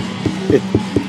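Knuckle knocks on a wet-looking, brown-stained wood floor section at the rear wall repair of a 2011 Sunseeker RV. Four short, dull, low thuds die away almost at once over a faint steady hum. The floor sounds solid, and the brown is likely tannin water staining rather than rot.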